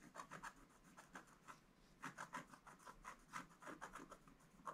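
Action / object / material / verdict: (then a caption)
scrape / black-coated scratch-art paper scratched with a wooden stylus / coated paper / none. A wooden stylus scratches lines into a flat black-coated scratch-art page, making a quiet series of short, dry rasping strokes. Each stroke has a scratchy midrange around 1.3 kHz with a faint bright hiss on top, separated by brief pauses.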